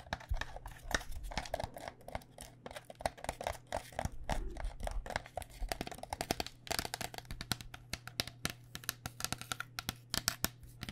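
A hollow white cycling helmet, a plastic shell over foam, is tapped with long nails while held against the body. Quick, irregular flurries of short, dry clicking taps sound bright and crisp over a steady low hum. Each tap stops almost instantly with no ringing.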